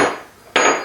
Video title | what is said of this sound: Engine 02 Babbitt Caps and Block | you can hear out it's ringing and once it cools down to room temperature it'll even ring more than that